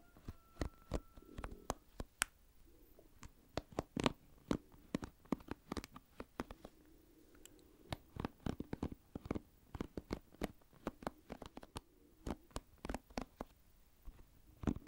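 Fingertips scratch across the pin bristles of an oval plastic paddle hairbrush held close to the microphone. The result is a quiet, rapid series of short, dry clicks and scratches, each flick cutting off almost at once. A faint low hum sits underneath.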